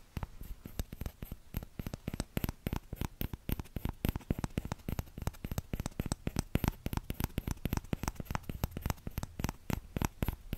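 Fingertips tap the empty bowl of a small orange plastic ladle, held by its handle, close in front of the microphone. A quick, steady run of short, dry taps is heard, each a soft low thump with a faint bright click and almost no ring.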